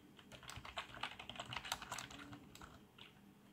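Both hands type rapidly with their fingertips on a black plastic membrane keyboard with RGB backlight. The result is a quick, uneven patter of soft, bright key taps with short, dry thuds beneath.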